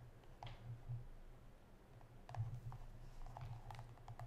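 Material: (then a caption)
Plastic. A small, hollow, pink and white squeezable plastic hand cream tube, which appears filled with cream, is held in both hands and tapped with long yellow acrylic nails. The taps are light, quick, dry clicks that die away almost instantly, scattered unevenly over a quiet, steady low hum.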